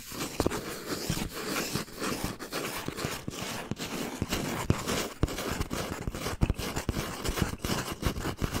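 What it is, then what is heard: Cardboard tube. Fingernails tap and scratch along a hollow brown cardboard tube with a capped end, held upright. A quick, uneven run of dry taps sits over a continuous papery scraping. Each tap carries a short, low, hollow thump that dies away almost at once.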